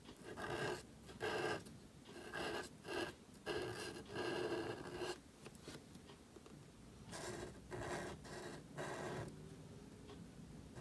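A gold calligraphy marker nib scratches across a thin, solid, flat sheet of black cardstock photocard filler while writing, with the card lying flat on a table and held by fingertips. Short bursts of dry, raspy scratching come in repeated strokes, bright and papery, separated by brief quiet pauses. Later strokes are softer.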